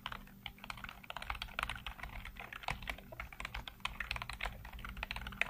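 Fingertips type rapidly across a full-size black plastic computer keyboard with hollow keycaps, producing a dense stream of quick, hollow plastic clicks and taps. The short, dry clicks are bright with a peak around 2.5 kHz over a steady low hum.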